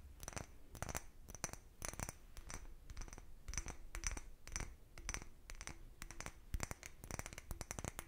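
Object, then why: Small cut glass bottle. A small, empty, hollow, clear cut-glass bottle with a patterned surface is tapped and scratched with the fingernails of both hands. Quick, dry clicking taps with bright, glassy edges and a soft low thump mix with scratchy rustling bursts. The sound stays quiet and close, and each tap dies away almost at once.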